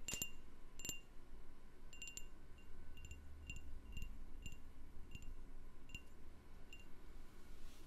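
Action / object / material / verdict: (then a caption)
tap / candle in a glass jar / glass / none. A candle in a jar is tapped, giving short, bright, bell-like clinks that ring at a clear high pitch and die away quickly. The taps come irregularly over a steady low rumble.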